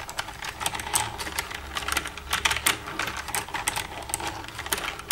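Long red-painted nails tap and type with both hands across the keys of a black plastic desktop computer keyboard with a hollow casing. A rapid, steady stream of sharp, bright plastic clicks and clacks is heard, each one short and dry with almost no ring, over a faint low hum.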